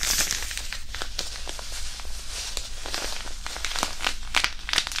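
A small white disposable hand warmer, a non-woven fabric pouch filled with iron powder, is rubbed and crumpled with the fingertips over the mic. The result is a steady, close crinkling rustle with gritty texture, punctuated by many short, bright crackles over a low background rumble.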